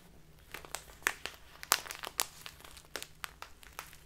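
A full plastic bag of loose tea with a green label is pressed and crumpled by fingertips and long nails. Irregular, bright crinkles and crackles sound in short bursts, with a faint low hum underneath.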